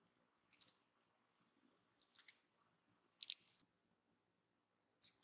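A thin metal carving knife slices and scrapes thin curls off the side of a solid, palm-sized pink bar soap, partly carved into a small bag shape and held in one hand. Four quiet clusters of short, crisp, bright scraping strokes are heard, separated by near silence.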